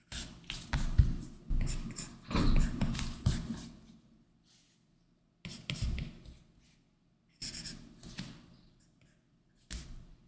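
A plastic Apple Pencil tip scratches and lightly taps across a flat iPad Pro glass screen fitted with a matte screen protector film while drawing a shoe. Dull, low scratchy strokes and soft taps come in uneven bursts, with pauses of near-silence between them. Each stroke dies away quickly without ringing.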